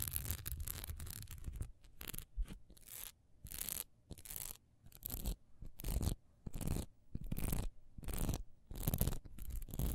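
Long nails scratch quickly across the raised texture on the side of a single solid wax pillar candle, held upright and then sideways. The result is bursts of dry, raspy scratching with a bright hiss and a low rumble underneath, separated by short quiet gaps.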